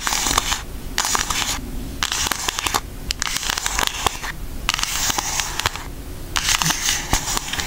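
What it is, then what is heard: Cardboard makeup palette. Long acrylic nails scratch and tap a flat, thin pink cardboard eyeshadow palette with an Aristocats design, held in both hands. Bursts of bright, crackly scratching alternate with quieter pauses, dotted with sharp, dry clicking taps that stop instantly.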